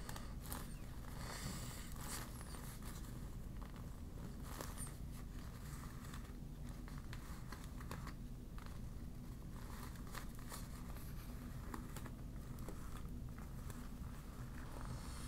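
A crumpled, deflated yellow PVC vinyl beach ball is held in the hand and scratched and crinkled with long black nails. Soft, steady crinkling and scratching continue throughout, with scattered brighter ticks over a constant low rumble at a quiet, even level.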